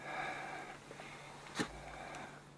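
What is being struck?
Nothing is struck.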